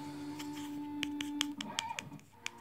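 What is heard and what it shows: Light, short taps on the rubberized body of a newly unboxed Foxeer Legend action camera, a body meant to grip whatever it is mounted on. About eight quick, dull clicks with little ring sound over a steady low electronic hum.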